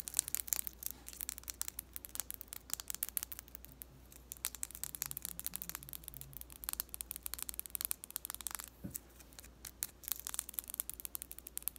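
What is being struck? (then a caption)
Wooden colored pencil. Long nails tap and scratch along the length of a long, thin, blue-painted wooden colored pencil held in the hands. The result is a quiet, rapid stream of sharp, bright clicks and scratchy rasps with no ring, over a faint steady low hum.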